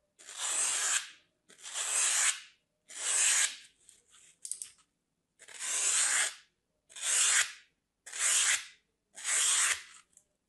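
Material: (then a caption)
Floral foam. A palm-sized, flat solid slab of dry green floral foam, held in one hand, is scored with the tip of a metal craft blade, scratching and cutting into its surface. Seven long, bright, hissy rasping strokes come at a steady pace, with a few short, lighter scratches after the third stroke and a final brief one at the end.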